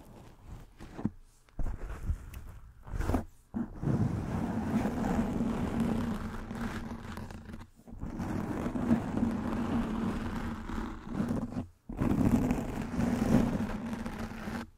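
Long nails and fingertips scratch and rub a soft black foam windscreen covering a microphone head. After a few short scratches at the start, there are several long stretches of close, dense, muffled scraping and rustling with a low steady hum underneath, separated by brief silent gaps.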